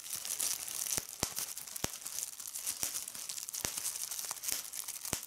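Clear plastic bubble wrap is pinched between fingers with red nails, popping bubbles one by one. Sharp, brief pops cut through a steady, bright crinkling of the film, with almost no low end.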